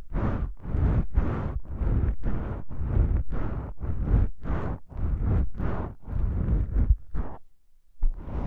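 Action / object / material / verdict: scrape / foam microphone windscreen / foam / none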